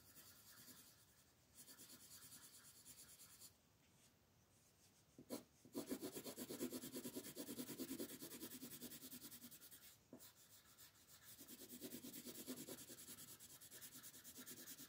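A blue colored pencil shades an owl's wing on a flat paper coloring book page lying on a table, while the other hand, with long nails, rests on the paper. Steady rubbing strokes make a soft, dry, scratchy hiss with a bright, papery grain and a quick back-and-forth rhythm, briefly pausing partway through. Two sharp ticks break in, and the shading grows louder and denser in the middle before easing into steady strokes again.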